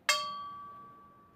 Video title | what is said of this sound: Granito epoxi - Concreto de resina | a gente bateu em um tubo longo a gente tem um som grave